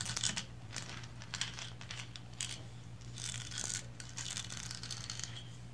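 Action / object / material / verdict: scrape / painted resin figurine / resin / none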